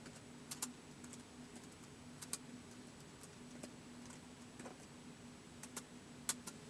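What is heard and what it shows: Fingertips slowly press the plastic keys of a white polycarbonate laptop with a hollow body, giving eleven short, bright, dry clicks spaced irregularly across the clip. The clicks die away almost instantly over a quiet, steady low hum.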